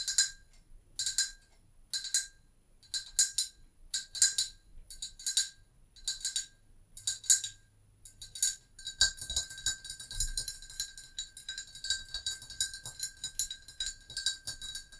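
Long acrylic nails tap a hollow, glazed brown ceramic mug, first held and then set down. Short, bright clicking bursts come in separate clusters with pauses between them for about eight seconds. Then the tapping turns into a fast, continuous patter of high, dry clicks with very little ring.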